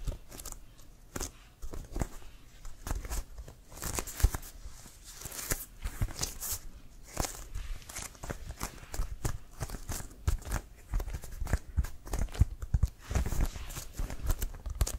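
Fingertips and nails tap and scratch on a brown CFL leather football with white stripes, hollow and inflated, while it is held. Quick, dry taps land in a steady irregular stream with a hollow low thump, mixed with bright scratchy rasps across the leather.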